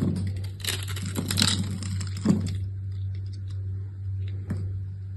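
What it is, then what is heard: Bar soap being scraped. A solid rectangular green soap bar, held in one hand with long red nails, is scraped with a metal utility-knife blade, curling off soft shavings. Bright, crackly scraping strokes fill the first two and a half seconds over a steady low hum, with a sharp click partway through. Quieter, faint scratches and another brief click follow as the hum continues.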